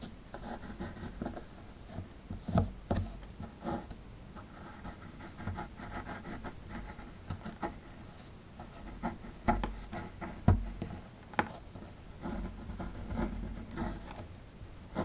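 A metal pick scrapes the lower right corner of a solid plaster fossil dig block, crumbling the plaster. It makes a steady, low, dull scraping and rasping with scattered sharper scratches and ticks throughout.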